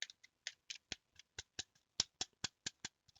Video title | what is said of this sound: UNBOXING MANETTE SWITCH POWER A ( power caca ) | ça sonne très très très creux, toi, ça sonne vide. Vraiment vide.